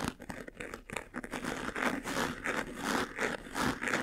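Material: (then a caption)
Faux leather. Fingernails scratch quickly across the lid and front, near the buckle, of a closed, hollow, medium-sized white jewelry box made of textured faux leather. The result is a dense, fast stream of dry, crinkly scratching bursts that rise and fall in a loose, uneven rhythm, with a bright edge over a hollow body.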